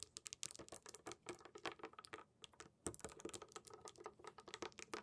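Long pink nails tap and scratch on small round glass marbles or gems in a lit wooden tray, then fingertips press into them. The result is a quick, dense run of bright, dry clicks and ticks with faint scratchy texture between them, each hit dying away almost at once.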